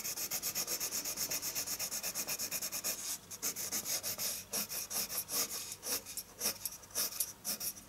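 A colored pencil tip hatches continuously across a flat sheet of white drawing paper lying on a wooden table. The result is a bright, dry scratching that runs in rapid, dense strokes for the first few seconds, then breaks into more separated back-and-forth strokes with short pauses between them.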